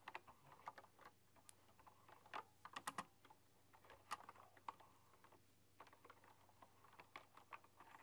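Fast typing on a full-size, typewriter-style computer keyboard with hollow, round chrome-rimmed keycaps, struck with fingertips and long dark-polished nails. The quiet, short, dry clicks come in quick irregular bursts and pauses, sitting mostly in the midrange with a bright edge. A faint steady low hum runs underneath.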